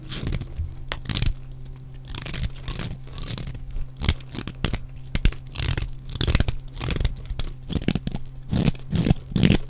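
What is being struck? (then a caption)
Bar of soap. A utility knife blade scrapes and shaves flakes off the edge and face of a solid, dry, rectangular yellow soap bar held in the hand. Quick, crisp crunching and rasping strokes follow one another with almost no ring, bright at each cut, over a steady low hum.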